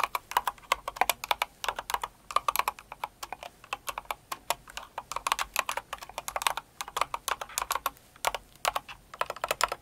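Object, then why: Mechanical keyboard with plastic keycaps. Both hands with long acrylic nails type steadily on a Cinnamoroll-themed kawaii mechanical keyboard with plastic keycaps. About sixty short, sharp clacks come in quick irregular bursts, each with a midrange knock and bright clatter. Every clack dies away almost instantly, with no low thump.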